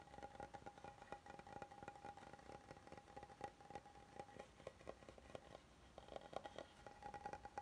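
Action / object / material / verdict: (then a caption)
scrape / oval wooden serving board / wood / none. Fingertips and nails scratch and tap the lower edge and underside of a flat, solid oval wooden serving board that is held up. The result is a quiet stream of many short, dry taps mixed with soft scratching. A faint steady tone sits near 770 Hz for much of the clip.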